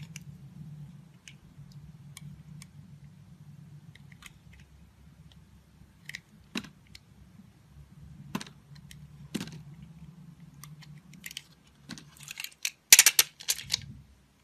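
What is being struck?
Soap bar cut with a blade.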